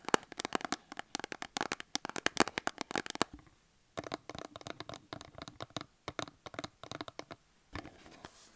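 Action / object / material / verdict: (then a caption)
tap / cardboard soap box with a soap bar inside / cardboard / none. Long acrylic nails rapidly tap and scratch a small cardboard soap box with a soap bar inside, standing on a table. The crisp, bright clicks come in a dense burst, pause briefly, then continue in looser taps and scratches. The sound ends with a soft rustle as the hands lift away.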